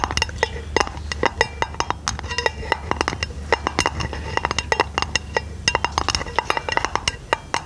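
A round aluminum lid held over a microphone is tapped and scratched with long nails. Quick, sharp, bright clicks ring only briefly in an irregular patter over a soft scratchy texture and a steady low hum.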